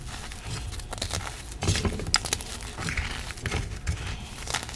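A broken gym chalk (magnesium carbonate) reform slab lies in chunks on a dark surface while a hand with long black nails crushes and rubs a piece into powder. Steady dry crunching and gritty crumbling come with sharp, bright crackles and a few low thumps, and the solid, crumbly chalk breaks down into powder.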